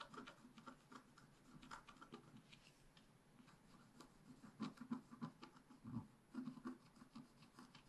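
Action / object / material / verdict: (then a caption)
scrape / scratch-art paper scratched with a wooden stick / coated paper / none. A wooden stick scratches across the mane area of a black-coated scratch-art paper page held flat by hand. Quiet, dry, irregular scratching and rubbing strokes follow in quick succession, some slightly louder than others, with short, crisp bursts and no ringing afterward.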